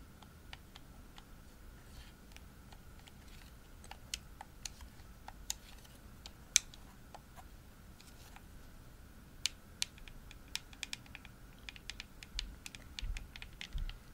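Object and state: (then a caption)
Plastic game controller tapped with nails. Long nails tap the shell of a hollow, pink glossy plastic Xbox controller, giving quiet, sharp, dry clicks with a bright, high edge and almost no ring. The taps come sparsely at first, then grow quicker and cluster in the last few seconds, over a faint steady hum and low background rumble.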